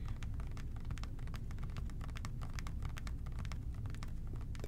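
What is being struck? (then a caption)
Plastic spray bottle. Fingertips and short nails tap and scratch a hollow plastic OxiClean spray bottle with a trigger top, which appears full of liquid and is held in both hands. Quick, light ticking clicks run continuously over a steady low rumble, with no clear pauses between them.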